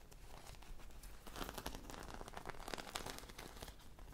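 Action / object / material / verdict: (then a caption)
scrape / foam squishy toy with beaded coating / foam / none. Long manicured nails scratch a hand-sized, popsicle-shaped squishy toy made of soft foam, with a bead and sprinkle coating and a stick, held close. The result is a quiet, continuous stream of dry crinkling and crackling scratches with a bright, grainy texture, swelling into denser bursts midway.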